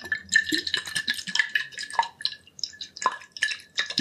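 A medium glass liquor bottle with a yellow label and a metal screw cap, partly filled with liquid, is held in both hands, tilted, and tapped and rubbed with the fingertips. The result is a quick, irregular run of light, bright clicks and scrapes over a faint glassy ring near 1.8 kHz, with a few deeper, drip-like plinks as the liquid shifts.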